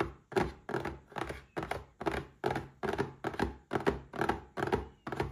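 A small red cardboard gift box standing upright is tapped with fingertips and short nails in a quick, uneven series of dull, hollow thunks. Each tap carries a mid-range tone around 400 Hz and dies away almost at once, with little deep bass or bright edge.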